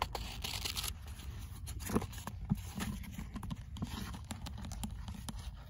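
Fingers rub and flip the paper pages and cover of a paperback book while a bead bracelet is worn. Soft papery rustles and brushing scrapes mix with many quick, light taps and page flicks, with a low rumble underneath and occasional slightly louder snaps.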